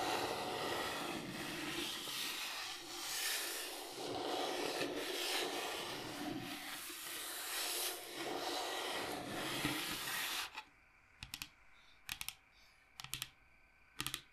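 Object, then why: Wood log slice with bark, tapped and scratched with fingernails. Long nails scratch and rub across the cut surface of a large, solid, round wood log slice with a bark edge, held at the side, making about ten seconds of dense, bright, hissing scrapes. The scratching then stops and gives way to sharp, separate taps on the wood in a loose, typing-like rhythm, with quiet gaps between them.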